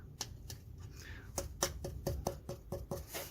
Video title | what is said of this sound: Transmission Trouble? Oil Change Lancia #Stratos Replica - Lister Bell | this was banging on the cross frame as well and actually being hollow